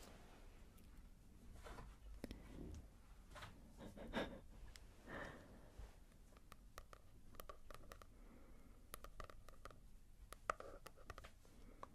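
Fingertips tap and scratch on a manga volume with a matte paper cover. The sound is quiet: soft, dull taps and brushing scratches sit over a low rumble. Short, sharp ticks come in the second half, with one louder click near the end.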